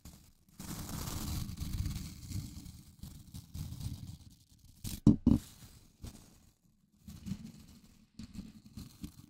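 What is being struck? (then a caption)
Plastic scrub brush with nylon bristles. An index fingertip runs and flicks across the white nylon bristles of a small blue plastic scrub brush held close to the mic. The result is soft, low, scratchy rustling and scraping in uneven bursts, with a pair of sharper, louder flicks midway through. Brief quiet gaps separate the bursts.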